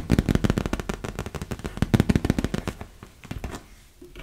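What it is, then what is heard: Vinyl beach ball tapped with nails. Long nails tap quickly on the surface of a large, hollow, inflated yellow and blue PVC vinyl beach ball. The result is a rapid, dense run of short, low, hollow thuds centered near 200 Hz, with no ring after each tap. The tapping thins out and grows quieter toward the end.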